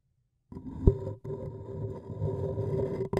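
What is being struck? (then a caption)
Paper cup. A thin wooden stick scratches around the rim of an empty-looking, hollow, printed white paper cup. The result is a dry, low-heavy scraping with a steady tonal hum, one sharp knock early on, and brief pauses between strokes.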